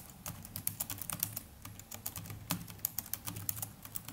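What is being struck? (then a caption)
Plastic laptop keyboard keys. Continuous typing with the fingertips of both hands on the plastic chiclet keys of a small black netbook keyboard. A quiet, steady patter of short, crisp, bright clicks that die away almost instantly, over a low, faint background hum.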